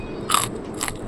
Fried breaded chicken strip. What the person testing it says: اسمعوا كده صوت القرمشة، اظن بقى مفيش قرمشه اكتر من كده بجد